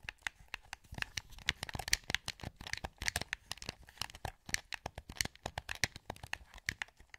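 A hollow, translucent green plastic PS2 wireless controller is held in both hands while fingertips click its buttons and sticks. About 34 quick, dry plastic clicks and taps come in an irregular, rapid stream. They sound bright and crisp, with almost no ring after each one.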